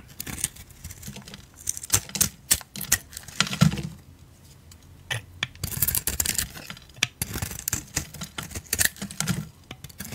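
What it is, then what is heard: Bar soap being carved. A solid oval bar of soap with a decorated surface and a peach inside is held in the hand and shaved with a blade. Rapid crisp scraping and crackling strokes come in bright, dry bursts. There is a quieter gap partway through before the shaving picks up again.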